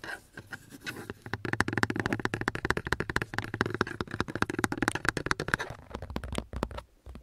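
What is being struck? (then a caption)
Fabric-covered car sun visor. A flat grey car sun visor with a fabric/vinyl cover and a vanity mirror flap is held as a thin panel and scratched with fingertips and nails. The result is a rapid run of dry scratches and soft taps with muffled low thumps, each stopping dead with no ring, before the pace thins out near the end.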